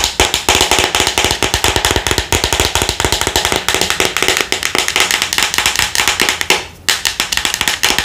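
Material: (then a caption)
Plastic. Long nails tap rapidly and continuously on the label and red plastic lid of a white plastic Thayers pad jar held in the hands. The taps are sharp, bright, and clicky with a hollow plastic tone, and each dies away quickly. There is a brief lull near the end before the tapping resumes.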